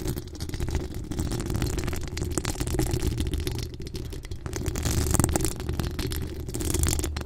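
Long acrylic nails from both hands scratch the hollow steel mesh grille of a pink decorated microphone. The result is a steady, dense, crackling scrape with a heavy low rumble underneath and faint bright hiss, swelling slightly toward the end.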